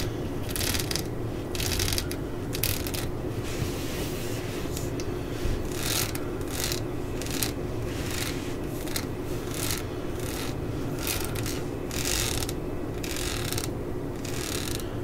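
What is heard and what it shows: Long nails and fingertips scratch and rub the ridged tan rubber grip of a solid claw hammer handle. Short, bright, hissy scraping bursts come and go over a steady low hum.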